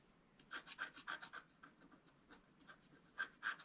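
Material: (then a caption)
Coated paper. A wooden stylus scratches the black coating near the lower edge of a flat, thin scratch art paper sheet lying on a table, while a hand holds the sheet flat. A quick, somewhat irregular series of short, dry, rasping strokes is heard, each with a bright, hissy edge and a faint whistly tone around 1.5 kHz, all at a quiet level with quieter strokes in the middle.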